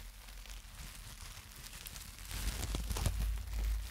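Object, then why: Plastic bubble wrap sheet. A sheet of plastic bubble wrap is crumpled and squeezed in the hands close to the mic, worked with fingertips and long nails. Soft, dense crinkling and crackling grows louder after about two seconds, adding sharp bright snaps and heavier low, muffled rustles.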